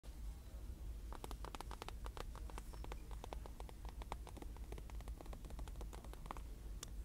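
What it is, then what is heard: Plastic-wrapped comforter package with cardboard insert. Long multicolored acrylic nails tap and scratch a queen comforter set package in a store: a soft folded fabric bundle in a clear plastic bag with a printed cardboard insert. Quick, crisp clicks and scratchy strokes come in fast succession over a steady low rumble, each tap dying away almost at once.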